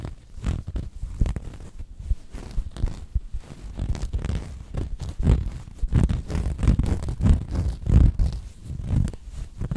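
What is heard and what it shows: Fingertips and long nails scratch a cream cotton canvas throw pillow with a cat print and grip its corners close to the microphone. The result is a steady stream of soft, rapid scratching and rubbing strokes that sound muffled and deep, with almost no bright edge.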